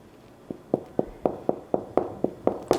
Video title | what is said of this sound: Baking No Knead Artisan Bread ⚠️ Don't Make These Mistakes - Recipes | it sounds hollow it sounds light i was scared it would be very dense